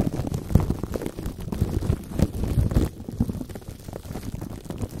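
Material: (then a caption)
Plastic film. Fingertips and short nails tap, touch and scratch clear plastic cling wrap stretched tight over the metal mesh head of a large condenser microphone. The result is a dense, close stream of muffled thumps and crinkling scratches, heavy in low rumble with little high-end brightness. Louder knocks stand out over the first three seconds before the scratching settles slightly quieter.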